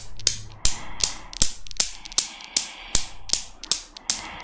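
A desktop chrome steel Newton's cradle with five solid chrome balls on a metal frame is set swinging with long nails, and the balls click against each other. A steady series of sharp, bright metallic clicks repeats roughly every 0.4 seconds, each dying away almost at once, with faint softer ticks between the main strikes.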